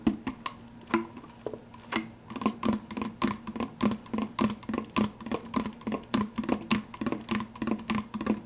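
Fingertips tap quickly on the clear plastic lid of a large, empty, hollow plastic soda cup. About thirty short, hollow plastic clicks come in an uneven rhythm, each with a low resonant body and a faint ring that dies away almost at once.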